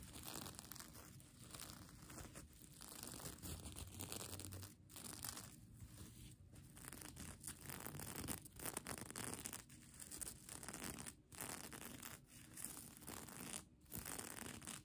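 Long nails scratch the large multicolor plastic sequins of a mermaid tail blanket, the sequined fabric held in one hand. A steady, bright crinkling and clicking scrape runs throughout in uneven bursts, with brief quiet gaps between strokes.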